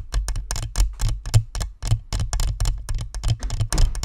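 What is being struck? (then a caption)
Plastic spherical microphone with metal grille. Long nails tap and scratch the perforated metal grille and chrome badge of a hollow, white plastic spherical microphone. A quick, irregular run of sharp taps, each with a brief bright click over a dull, boomy low thump around 110 Hz, dies away almost instantly.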